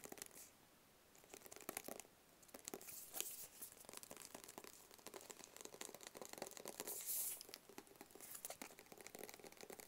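A small, hollow black cardboard gift box is held in both hands and tapped with long fingernails on its faces and edges. The clip is a quiet, steady run of quick, bright clicks and light crinkly scratches. The taps are crisp and dry with almost no low end, and a few denser bursts stand out.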